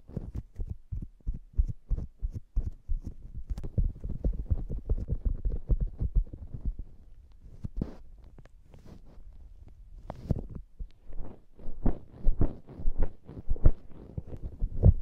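Long acrylic nails scratch and tap the glittery bun top of a palm-sized, soft, solid polyurethane foam squishy hamburger toy. The result is a stream of dull, muffled low thuds and soft scratches, mostly deep in tone with almost nothing bright. The taps come in uneven bursts, with a quieter scratching stretch near the middle.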